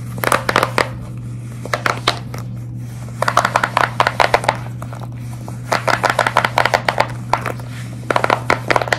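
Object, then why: Silicone pop-it fidget toy. Long red nails scratch and grip the bubble surface of a large square pastel silicone pop-it fidget toy held flat. Dozens of short, sharp crinkly clicks and scratches come in quick bursts, separated by brief pauses, over a steady low hum.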